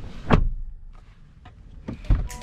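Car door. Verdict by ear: Tight.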